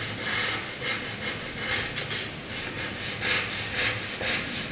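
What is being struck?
Graphite pencil on paper sheet.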